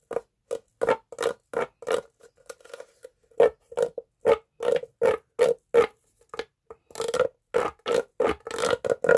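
A hollow green corrugated plastic pop tube is stretched, bent and compressed with both hands and fingertips. It makes a quick, uneven series of short, dry pops, each with a hollow tone near 440 Hz and almost no ring. The pops bunch into a denser flurry near the end.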